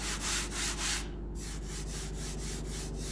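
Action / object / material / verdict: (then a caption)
scrape / wooden drawer surface / wood / smooth. A wooden cabinet drawer surface is rubbed by hand after being wetted with a rag and given a final pass with 220-grit sandpaper. The rhythmic back-and-forth strokes make a bright, airy hiss over a steady low hum, with a brief pause after the first second. The strokes then continue softer and more even, sounding quieter and smoother than the raised-grain section.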